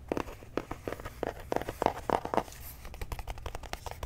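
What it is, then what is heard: Cardboard box. A flat, hollow white cardboard box is held in the hands while fingertips and short nails scratch and tap its surface. The result is a quick, irregular run of dry, crinkly taps and scratches with almost no ring. The sound is mostly mid-range, and a faint low hum sits underneath.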